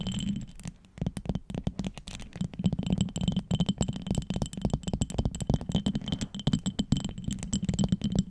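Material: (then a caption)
Glass. A small amber glass perfume bottle with vertical gold stripes and a small cap is held close and tapped and scratched with long acrylic nails. It makes a rapid, dense stream of short, dry clicks and scrapes with a heavy low body, a steady tone near 145 Hz and faint bright overtones. After a quieter moment near the start, the tapping runs continuously to the end.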